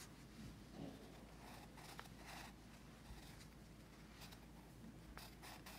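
A pencil tip scratches across a paper sketchbook page lying on a teal folder, while a finger of the other hand rests on the page. Quiet, dry scratching comes in short bright bursts of hiss over a steady low hum.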